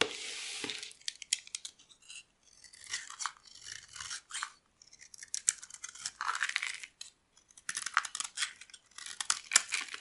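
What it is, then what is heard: Dry soap bar being carved. A metal blade carves and scrapes flakes off the surface of a solid oval bar of dry purple soap held in the hand. Crisp, bright, dry shaving and scraping comes in short irregular bursts separated by brief pauses, with almost no low end and no ring after each stroke.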